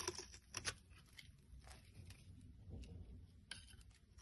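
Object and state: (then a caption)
Bar of soap being scraped. A solid rectangular yellow soap bar, held in the hand, is scraped into long shavings with a black blade edge, either a card or a knife. Soft, crisp scratching and peeling sounds come in irregular bursts, with bright, airy texture over a low rumble. A few sharper scrapes stand out near the start and again toward the end.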